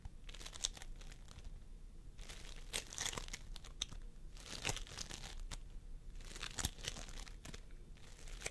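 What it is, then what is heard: Floam sculpting foam being squished. Fingertips of both hands press and squish a pastel mound of floam sculpting foam made of polystyrene beads on a wooden table. The result is a steady stream of soft, sticky crackling and crinkling, dotted with sharp, bright pops and crunches that swell and fade in waves over the clip.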